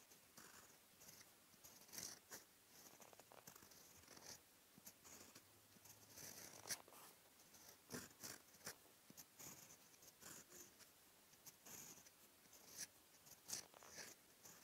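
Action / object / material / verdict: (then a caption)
scrape / paper sheet under a steel pen nib / paper / none. The steel nib of a fountain pen, held in the fingertips, scratches across a flat sheet of white lined writing paper in handwriting strokes. The result is a quiet, bright, dry scratching made of many short bursts that stop and start with each stroke, with almost no low end.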